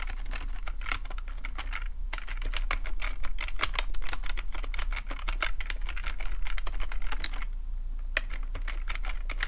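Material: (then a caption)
Plastic. Fingertips of both hands tap the keys of a black plastic full-size computer keyboard with a hollow housing, resting on a fluffy rug, in fast typing. Quick, bright, irregular clicks decay almost instantly, with brief lulls near 2 and 8 seconds, over a steady low hum around 70 Hz.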